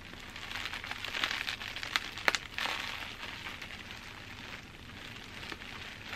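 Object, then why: Plastic bubble wrap. Bunched clear plastic bubble wrap is held in both hands and scratched and squeezed with long dark-painted nails, giving a steady bright crinkling. Sharp crackling snaps stand out around the two-second mark before the rustle settles back to a softer, even crinkle.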